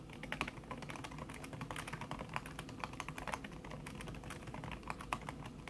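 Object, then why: Aluminium keyboard with silicone key cover. Fast typing with fingertips and long red-painted nails on a thin backlit aluminium keyboard whose plastic keys sit under a red silicone skin. A rapid, steady stream of soft, muted clicks and taps with short bright edges and almost no ring.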